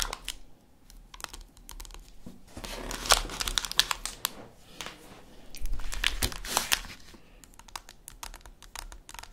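Long acrylic nails tap on an unwrapped solid dark chocolate bar lying on its plastic wrapper on a wooden table. Quick, sharp, bright clicks come in uneven bursts, mixed with a soft crinkly rustle from the wrapper. Two denser, louder flurries stand out in the middle of the clip.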